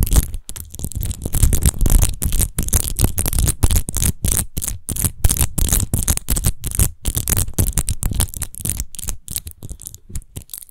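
Long nails rapidly scratch and tap a large, hollow, clear glass rose-shaped wine bottle with a rose-textured base, apparently empty. The result is a dense run of quick, dry scrapes and clicks with heavy low thump and a thin bright hiss. Each touch dies away almost at once.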